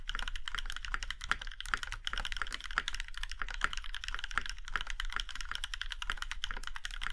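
Fingertips of both hands type steadily on a compact Iron165 mechanical keyboard with a plum-red aluminum case and black keycaps. The keys give crisp, short clacks centered around 1.4 kHz with bright tops, over a steady low hum.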